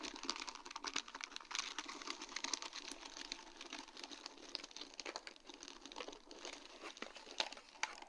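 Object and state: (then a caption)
Acrylic rhinestone sheet on plastic mesh. A sheet of large round faceted acrylic rhinestones on a plastic mesh backing is tapped and scratched with long dark-painted nails. The result is a dense, continuous stream of light, bright clicks and crinkly scratching, mostly high-pitched, with short taps that die away almost instantly.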